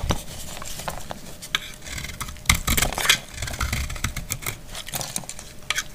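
A dry, solid brown household soap bar held in the hand is cut with a metal utility blade. The clip is a quick run of crisp, brittle scraping and snapping cuts with bright crackling edges and a low thuddy body, each sound dying away almost at once. Louder crunchy breaks stand out near the middle of the six seconds.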